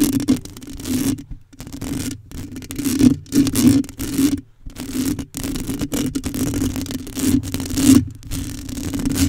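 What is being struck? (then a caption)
Metal mesh microphone grille. Long acrylic nails scratch and drag across a hollow black metal mesh microphone grille. The result is a continuous, raspy scraping noise in uneven bursts with brief near-silent gaps, over a steady low tone around 250 Hz.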